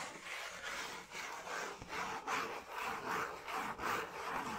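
A thin, flat brown cardboard piece held in both hands is rubbed and scratched with fingers and nails. It makes a steady run of dry, papery scratching strokes that swell and fade in a loose rhythm, with the sound centered in the midrange and a bright, hissy edge.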